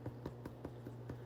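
Freshly baked, golden-brown cinnamon buns, out of the oven after 40 minutes, are tapped in a steady series of soft, evenly spaced knocks. The taps are dull and hollow over a constant low hum, showing the buns are fully baked through.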